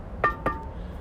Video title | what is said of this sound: 창덕여중 건설 구조물 탐방 vlog(창덕여중 원격수업) | 플라스틱이 아니라 뭔갈 참석이 통통 폭 나는 소리가 나죠